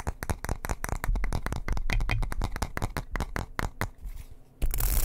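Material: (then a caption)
Wood. A light wooden bristle hairbrush is held close to the microphone while fingernails scratch quickly across its bristles and wooden back. The result is a fast run of crisp, bright scratching strokes over a deep low rumble. The strokes fade to a quieter, softer rustle before a loud, hissy burst at the end.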